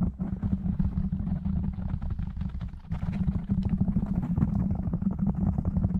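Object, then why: Foam microphone windscreen. Fingertips of both hands tap quickly on a black foam windscreen over a microphone, then one hand covers the foam and rubs it. The result is a dense stream of soft, muffled low thumps and rumble with a steady low hum-like tone. The sound gets fuller and louder in the second half.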